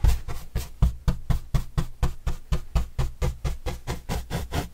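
A yellow-bristle paintbrush brushes the surface of a large, flat, white corrugated cardboard pizza box with green edges, held upright and hollow. About twenty quick strokes land at roughly two per second, each a short, deep, hollow thump with a brief papery scratch above it. The strokes die away almost at once.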